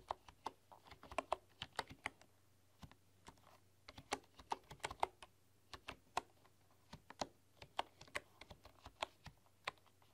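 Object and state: Bamboo computer keyboard.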